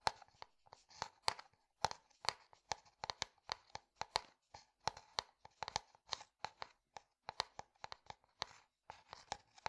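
A clear plastic bottle partly filled with liquid is tapped with a fingertip and nail in quick, irregular bursts of about thirty-three taps. Each tap is a quiet, crisp click with a mid tone near 860 Hz and a bright, papery edge that stops almost instantly.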